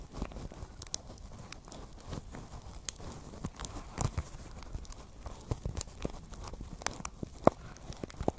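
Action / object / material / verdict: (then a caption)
tap / small basket woven from plastic strips / plastic / none. A small, hollow pink basket woven from plastic strips is held close to the microphone and tapped and scratched with long nails. Quiet, dry scratching and crinkly rustling sit mostly in the low range, broken by frequent sharp, bright clicks that stop almost instantly.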